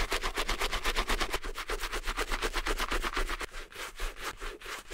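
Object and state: Suede handbag being brush-scrubbed.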